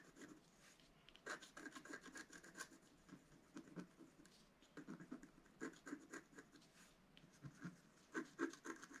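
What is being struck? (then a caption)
Scratch art paper card with wooden stylus. A wooden stylus scratches the black coating of a flat, solid scratch art card, black over coloured foil paper and about A4 in size, lying on a table. Quiet, dry scratching strokes come in irregular bursts with short pauses between them, each stroke a brief rasp that stops with almost no ring.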